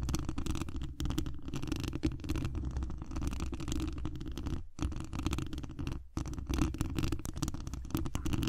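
Long acrylic nail tips scratch and tap the hollow mesh wire dome grille of a large condenser microphone. The result is a dense, continuous rumbling scrape, heavy in the low end, with quick crackling taps and brief pauses near the five- and six-second marks.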